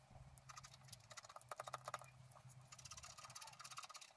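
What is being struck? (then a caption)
Black-coated scratch-art paper card scratched with a wooden stylus. A wooden stylus scratches leaf shapes into a flat scratch-art card of black-coated paper held down with one hand. Quick, dry, bright scratching strokes come in bursts over a faint low hum, some carrying a thin squeaky tone.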